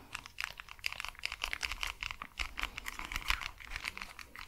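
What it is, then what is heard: Plastic headphones scratched and tapped with nails. Long acrylic nails scratch and tap the earcup and headband of pink and white cat-ear over-ear plastic gaming headphones with glowing LED ears and a hollow plastic shell, held close to the mics. A rapid, irregular run of bright, dry clicks and scratchy taps is heard, each dying away almost instantly, with only a faint low rumble underneath.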